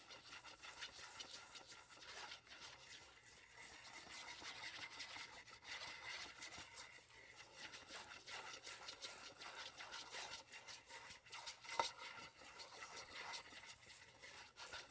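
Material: Aluminum.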